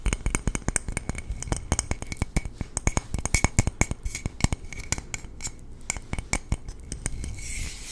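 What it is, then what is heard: Aluminum water bottle tapped with fingertips and nails. A hollow, red painted aluminum water bottle, held close to the mic, is tapped and scratched with fingertips and nails. The result is a rapid, uneven series of short, clicky taps with a faint metallic ring near 2 kHz and a soft low body, while a light scratchy hiss fills the gaps between them.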